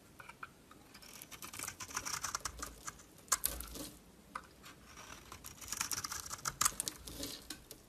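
A solid green bar of soap, held in the hand, is shaved with a metal utility knife blade. Quick, dry scraping strokes come in dense bursts, crisp and bright with little low end. Each shaving cut ends sharply with almost no ring.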